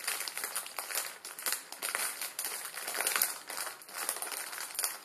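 A full, palm-sized plastic film ramen packet resting on a wooden table is pressed and crinkled with the fingertips of both hands, crushing the dry noodles inside. A steady, bright crackling and crinkling fills the clip with rapid overlapping rustles and sharp crunchy snaps. There is almost no low end.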